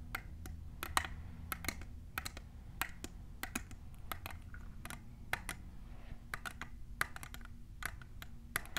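A tall, clear, hollow plastic Hocus Pocus tumbler standing on a table is tapped on its sides by long nails fitted with colorful plastic clips. About thirty quick, bright, clicky taps sound in irregular bursts, each dying away almost instantly over a steady low background rumble.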